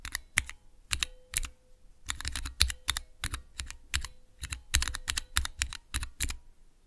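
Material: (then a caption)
Plastic. Fingertips with long nails press and tap clear plastic keycaps on Cherry MX switches with red, clear and green stems, set in the clear plastic base of a mechanical keyboard switch tester. Quick, uneven bursts of bright plastic clacks land with a low thock, each dying away almost at once, while a faint steady tone hums underneath.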